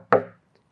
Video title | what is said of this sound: Tech Talk Skybrid D/LAB 2026 | it's hollow. So, got rid of all that heavy foam inside